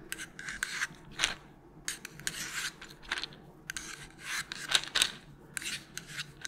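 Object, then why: Small plastic bottle. Long pointed nails tap and scratch a small, hollow white plastic melatonin bottle with a purple cap while it is held up. Bright, dry rasping strokes come in short bursts, mixed with a few sharp clicking taps that die away almost instantly, with very little low end.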